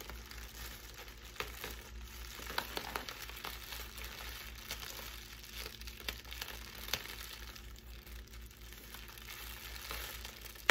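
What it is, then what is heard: Plastic air-cushion packaging. Clear plastic air-pillow packing wrap with blue print and air-filled cells is crumpled and squeezed with fingers and long pink nails. The result is a continuous, bright, fizzy crinkling with scattered sharper crackles over a steady low hum.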